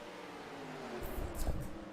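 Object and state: Nothing is struck.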